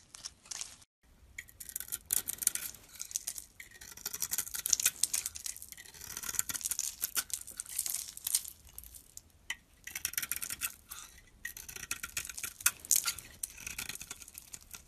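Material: Soap.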